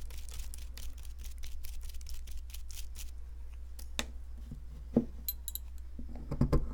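A metal pick digs and scrapes into the center of a solid, palm-sized white plaster fossil excavation block, loosening powdery plaster. Fast, dry scratching and scraping strokes run throughout over a steady low hum. A few sharper knocks land near the end.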